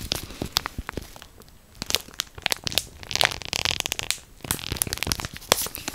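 A full orange Morato plastic bag of packaged bread is held beside the ear and scratched and squeezed with long black nails. Bright, crisp crinkling and crackling come in quick, uneven bursts with brief scratchy ticks, each dying away almost at once.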